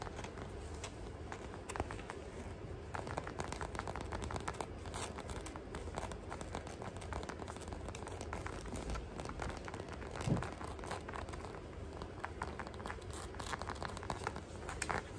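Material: Rubber.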